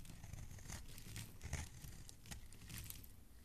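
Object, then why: Solid bar soap. A flat metal blade shaves long, crumbly strips from the surface of a hand-sized solid green bar of soap held in a hand. The carving gives a steady, soft, crinkly scraping with a low, muffled body and faint bright crumbling edges, swelling slightly with each stroke across the clip.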